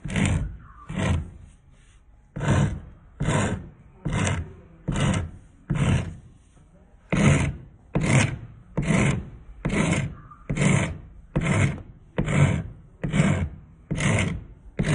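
A solid wooden spindle is filed with a hand-held steel rasp in repeated strokes, each giving a short, coarse rasping burst. The sound is mostly low and woody with a bright scratchy edge, in a steady rhythm of just over one stroke per second with a brief pause midway.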